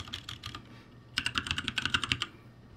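Fingertips press and tap the plastic keycaps of a backlit ROCCAT G65 mechanical keyboard. A soft run of typing gives way to a quicker, louder burst of bright, sharp key clicks with little low end, and each click dies away almost at once.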